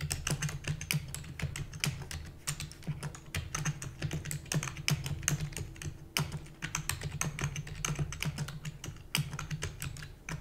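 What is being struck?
Plastic computer keyboard.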